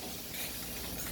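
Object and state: Nothing is struck.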